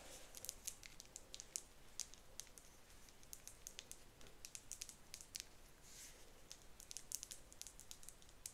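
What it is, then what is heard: Plastic cleanser bottle. Long nails tap and scratch the side of a medium-sized, apparently full, light blue plastic Bubble gel cleanser bottle with an orange cap. The result is a rapid, irregular stream of bright, crisp clicks and scratchy scrapes, each dying away almost instantly, over a soft, low background hiss.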